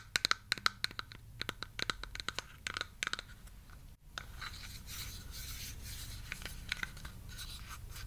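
Long yellow-painted nails tap and scratch the studs and sides of a large, hollow, purple plastic Mega Bloks-style toy building block held in the hands. A quick run of sharp, bright, clicky taps with a hollow plastic ring around 1.3 kHz fills the first three seconds. After a brief silent gap, a steady, hissy, high scratching continues to the end, with a few more taps.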